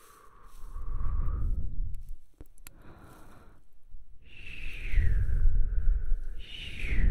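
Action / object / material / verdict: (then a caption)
scrape / styrofoam block / styrofoam / none. A white, solid rectangular styrofoam block, held up near the face, is tapped and rubbed with the fingertips. Slow rubbing strokes bring out soft squeaky squeals that glide in pitch over a low, muffled rumble, with a few light, sharp taps in a quieter middle stretch.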